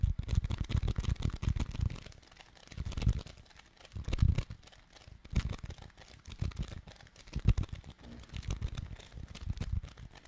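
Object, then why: Foam clay of polystyrene beads in putty. A palm-sized, solid and soft slab of orange foam clay, made of tiny polystyrene beads in putty, is held in both hands close to a microphone and squeezed and kneaded with the fingertips. Dense, low, muffled squishing and fine crackling come in bursts, separated by brief quieter pauses, with almost no high or bright content.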